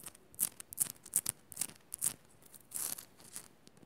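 Long nails scratch and tap the rough side of a solid pink rock-salt crystal on a pink Himalayan salt lamp, close up. Quick, dry, bright scratches and clicks come in irregular bursts, with one longer rasping scrape near the end.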